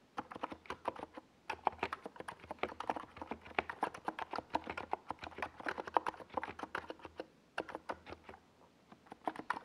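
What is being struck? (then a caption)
Plastic mechanical keyboard with tall SA keycaps. A compact 68-key NiZ Plum Atom 68 mechanical keyboard with a hollow white plastic case and purple and yellow Domikey Gas Attack SA plastic keycaps is typed on rapidly with the fingertips of both hands while resting on a desk pad. Dozens of quick, dry clacks centered around 950 Hz stop almost instantly, coming in bursts separated by a few brief pauses.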